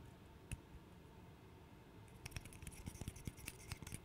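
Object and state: Small wooden puzzle.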